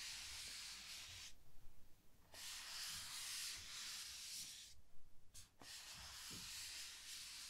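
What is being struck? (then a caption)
Large rigid cardboard box. Long painted nails scratch slowly across the lid of a large, rigid cardboard gift box that is closed and hollow. The result is a steady, bright, hissing scrape with a low hollow rumble, broken by two short pauses into three strokes.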